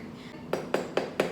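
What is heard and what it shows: A freshly baked baguette just out of the oven is tapped four times to check doneness, giving short, dull, hollow knocks with almost no ring. The hollow sound shows the baguette is baked through and not burnt.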